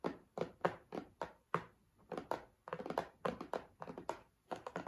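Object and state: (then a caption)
Cardboard tissue box. A cardboard tissue box is tapped and handled, giving a quick, uneven series of dull, short thunks and taps with almost no ring. The sound is mostly low-mid, with little deep bass or bright treble.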